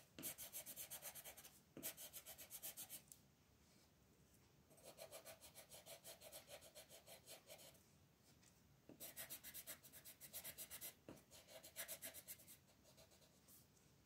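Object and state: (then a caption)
Colored pencil shading on a paper page. A blue colored pencil, held in fingers with long red nails, is rubbed back and forth across a thin printed paper coloring page lying flat on a table, shading it. Quick, bright scratching strokes come in several rhythmic bursts, separated by quieter pauses.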